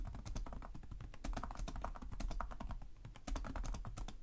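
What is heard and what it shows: Fingertips with short nails type continuously on the plastic chiclet keyboard of a black laptop resting on a desk. The result is a rapid, steady stream of short, dry key taps, each a crisp bright click over a soft low thump that dies away almost at once.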